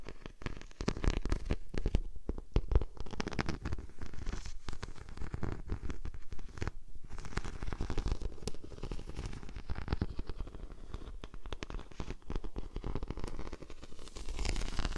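A large sheet of clear plastic bubble wrap draped over a microphone is scratched and pressed by long painted nails. The result is a dense, continuous stream of soft crackles and rustling scrapes, with muffled low-frequency rumble from the contact dominating over faint brighter crinkles.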